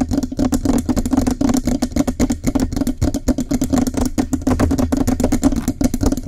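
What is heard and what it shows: Both hands grip the sides of a Blue Yeti USB microphone's hollow metal cylindrical body, below its foam windscreen, and quickly tap and scratch the metal with fingertips and nails. The result is a rapid, continuous patter of short, dry taps and scrapes over a steady resonant mid-low ring and a low rumble.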